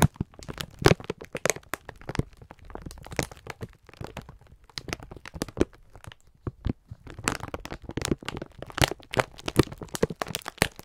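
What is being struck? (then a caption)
Sponge scourers in plastic film packaging. A clear plastic-wrapped pack of sponge scourers is held in both hands while the fingertips squeeze and rub it. Sharp, dense crinkles and crackles of the plastic film come in uneven bursts throughout, with short, dry snaps that die away almost at once.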